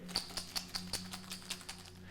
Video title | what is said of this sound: Mr. Richie - Super Science | the dry ice is inside my container if i shake it you can hopefully hear it